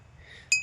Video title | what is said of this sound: ফাঁকা মাঠে টুং টাং শব্দ কেন? # vlog # nature # village blog # natural view | লোহার টুকরো নড়ে কাচের বোতলে লাগছে। লেগে শব্দটা হচ্ছে।